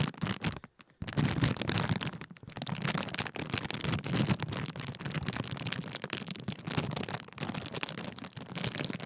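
A large red and yellow Walkers sharing-bag crisp packet of thin foil-lined plastic film is folded over in the hands while fingertips crinkle and fold the film. The result is dense, continuous crackling and crinkling across the whole range, after a brief pause near the start, with low rustle and bright crisp snaps throughout.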